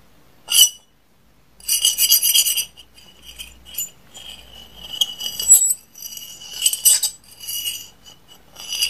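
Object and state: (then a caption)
Porcelain dinner plate. A medium-size white porcelain dinner plate with a pink floral rim, solid and empty, is held up by hand while a metal fork taps and scrapes across its surface. Bright, high clinks and scratchy scraping come in bursts, with short rings that fade quickly and almost no low end.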